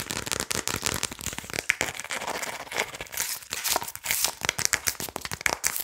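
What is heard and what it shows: A plastic Adobo seasoning shaker bottle with a red cap is held close to the mic while fingernails tap and scratch fast across its body and label. The result is a dense run of sharp, bright clicks and crinkly scratches with almost no low end.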